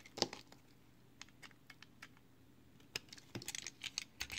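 A box cutter blade shaves curled slices off a small, solid, pale green soap piece held in the fingers. Short, crisp, bright scraping ticks come in quick irregular bursts, with little low end and almost no ring after each cut.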